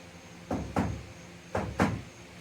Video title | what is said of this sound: The F.O.B. - Ep. 8 (Back wall and ceiling insulation, electrical) | it rings you can hear that that metal sound it's tinny